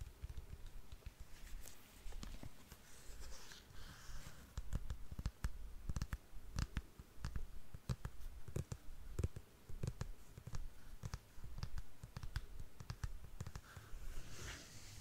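Long nails tap and click on the glossy straps and insole of a black patent leather strappy sandal with a buckle. The result is a steady run of many short, sharp clicks with a deep low thump under them and faint bright edges.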